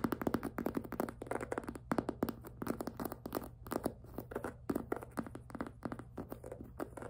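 Long nails tap quickly on the plastic top and side of a tilted, hollow pink jelly PVC handbag. The result is a dense stream of short, dry, hollow clicks with a mid-low plastic body, over a faint steady low hum.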